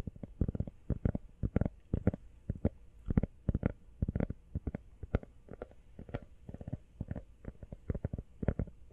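Long nails tap fast on a small, empty, hollow teal rubber phone case held close to the mic and partly hidden by hands. The result is a rapid, uneven patter of soft, dull, low thuds that stop instantly with no ring and have almost no brightness.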